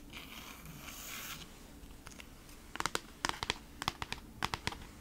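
Long acrylic nails scratch across the printed back of a flat kraft-cardboard beeswax-wrap package held close to the mic. A soft, bright papery rustle comes first and fades into a quiet stretch. Then a run of sharp, dry clicking scratches follows in quick clusters, each cutting off almost instantly.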